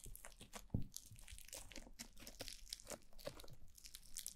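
Two clumps of white foam-bead slime (floam) are squeezed and rubbed with fingertips and long blue nails over the ears of a black glossy mannequin-head microphone. The result is a steady stream of close, crunchy, crackling squishes with bright, gritty bead pops over a soft low rumble, with the loudest crunch early on.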